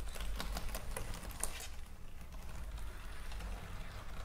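Long fingernails on hands decorated with stick-on gems tap the keys of a white plastic computer keyboard lying on a table. A quick run of about seven sharp, bright clicks comes in the first second and a half, followed by softer, scattered tapping over a steady low hum.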